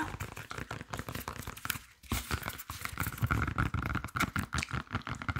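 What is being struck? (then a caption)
Green plantain with peel. Fingertips and nails rapidly tap and scratch along the peel of a large, solid, unripe green plantain with its peel still on. The result is a fast, dense stream of short, dull thumps with a low body, mixed with dry, crinkly scraping. The taps pause briefly around the two-second mark.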